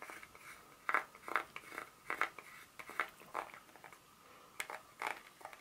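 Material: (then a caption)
Chocolate. Long pointed nails tap and scratch the segments of a solid, segmented dark chocolate bar held in the hand, with one corner broken off. The result is a series of short, dry, crisp clicks and scrapes with a bright edge and almost no low end, separated by quiet gaps.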